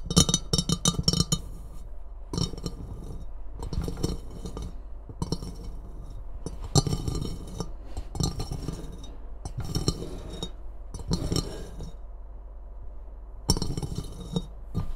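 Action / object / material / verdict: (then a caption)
tap / glazed ceramic mug / ceramic / none. Long nails tap and clink on the glazed rim of an empty ceramic Christmas mug with a red rim and handle. Bursts of quick, bright clicks and short clinks come in clusters separated by brief pauses, each hit dying away almost at once over a low steady hum.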